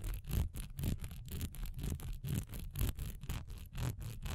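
Long nails scratch fast across the diamond-patterned sides and top of a single solid wax pillar candle, held upright and then tilted in the hand. The strokes come in a quick, uneven rhythm of rasping bursts, each carrying a dull low rumble under a bright scratchy texture that stops short between strokes.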